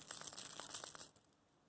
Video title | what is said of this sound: Walleye Nation Creations Shaky Shad Review | I want you to listen to this, and I want you to hear the rattles. Pretty good rattles.